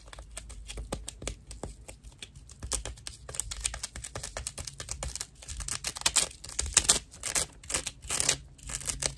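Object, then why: Dried loofah sponge slice. A hand-sized round slice of dried natural loofah fiber is scratched and tapped with long nails. The result is a dense run of quick, dry, rough scratches and clicks that sound bright and crackly and stop almost instantly, with a faint low hum underneath.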